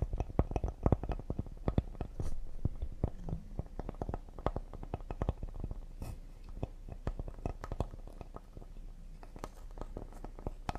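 Fingertips and nails tap rapidly on the face and thick edge of a solid cedar serving board. The result is a fast, uneven run of short, dry knocks and clicks with a soft, low body and almost no ring.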